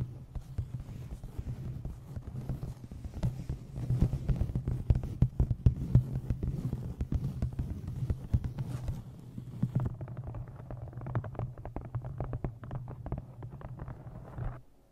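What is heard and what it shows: An embossed leather journal set with a blue stone is held and then tapped rapidly with long nails, giving dense, dull taps over a steady low hum around 120 Hz. After about ten seconds the tapping loses its upper hiss and sounds more muffled until it stops.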